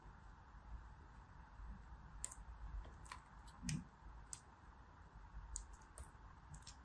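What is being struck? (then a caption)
Kinetic sand in a plastic mold. Green kinetic sand is pressed and packed down with fingertips into a blue plastic flower-shaped mold. A soft, low crunching rumble runs throughout, broken by a scattering of sharp, bright clicks and one fuller thump near the middle.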